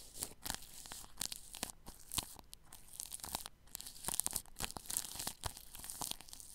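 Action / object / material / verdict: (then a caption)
scrape / plastic cling film wrapped over a microphone grille / plastic film / none. A paintbrush brushes across plastic cling film wrapped over the grille of a ball microphone. It makes close, bright, crinkly rustles and scratchy strokes that come in quick irregular bursts, with little low end and no ringing after each stroke.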